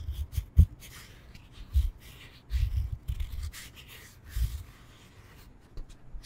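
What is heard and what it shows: A solid rectangular foam yoga block is held in the hands and tapped quickly on its textured side with fingertips and nails. The taps come as soft, dull, low thumps around 90 Hz that die away almost at once, with faint rubbing between them. The taps are spaced irregularly and vary in strength over the quiet background.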